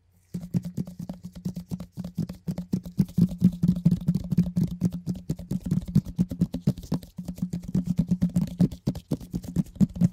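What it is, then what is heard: Plastic container lid. A large, hollow, round orange plastic food container lid, held up in gloved hands, is tapped rapidly with gloved fingertips. After a brief moment of silence, quick, uneven bursts of soft, dull, low-pitched thumps with a hollow resonance and very short decay continue to the end, easing briefly around seven seconds.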